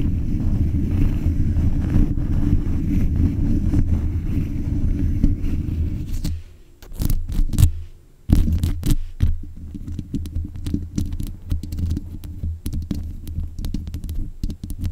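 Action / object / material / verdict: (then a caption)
scrape / metal mesh microphone grille / metal mesh / none. Long nails scratch the metal mesh grille on the head of a black USB condenser microphone, producing a dense, boomy, low-heavy rasping rumble. Around the middle the scratching thins into a few quick bright swipes and a brief near-silence. It then resumes as a steady run of rough strokes with sharp clicky edges.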